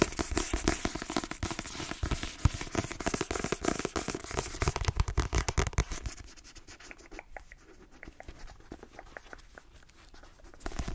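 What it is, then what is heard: Paperback book with glossy cover. A hand-held Inside Vogue paperback book, a solid paper block with a glossy cover, is scratched and tapped by long nails. Fast, dense, bright scratching and tapping fill the first six seconds. The sound then thins to quieter, scattered taps and picks up again at the very end.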